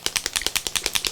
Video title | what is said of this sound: Faber-Castell Mixed Media Stencils - Review by Barb - HowToGetCreative.com | you have to shake you can hear the mixing ball